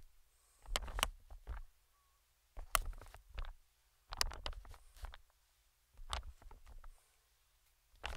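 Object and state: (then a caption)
Inflated plastic air pillow. Metal tweezers tap and scratch the film of an inflated, medium-sized green plastic air cushion, producing quick, dry crinkly clicks and scrapes with bright, crisp edges and a soft low thump beneath. The sounds come in five short bursts separated by near-silent pauses.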